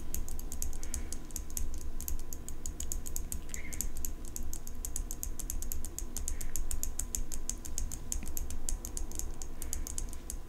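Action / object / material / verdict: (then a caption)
tap / steel folding pocket knife tapped with fingernails / steel / none. Long fingernails rapidly tap and scratch the blade and engraved metal handle of an open steel folding pocket knife. Dense, quick, bright clicks run steadily over a constant low hum.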